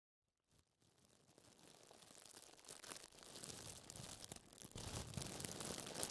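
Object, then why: Thin plastic film sheet. A thin, crinkled clear plastic wrap sheet lying flat on a table is pressed and crumpled with gloved fingertips wearing fingerless gloves, then left alone. Dense, bright crinkling and crackling starts quietly after a brief silence and grows steadily louder over the clip.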